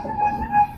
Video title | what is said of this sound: 2025 FKM EXPRESS 500 RACER // iMarkMoto 2.0 | Diba pag kinatok natin yan, metal. Ayan oh, metal siya.